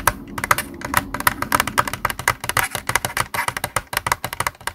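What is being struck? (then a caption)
Plastic game controller. Fingertips tap rapidly on the hollow body and buttons of a white plastic Xbox controller lying on a desk. The result is a dense stream of quick, dry plastic clicks and taps with a bright, clicky midrange and almost no ring.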